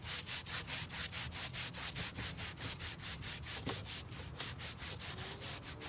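A gloved hand scrubs a grey carpet car floor mat, flat and damp with cleaner, back and forth with a stiff-bristled plastic scrub brush while the other hand holds it down on a white plastic folding table outdoors. The result is a steady, rhythmic run of bright, hissing bristle strokes over a soft, low rumble.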